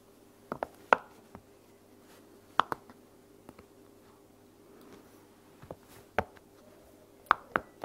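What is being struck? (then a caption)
Silicone bubble pop toy. Fingertips and long nails pop and tap the bubbles of a heart-shaped silicone pop-it toy resting on a blanket. The result is a scattered series of short, dry pops and clicks with no ring, some sharper and brighter than others. Quiet pauses separate the hits over a faint, steady low hum.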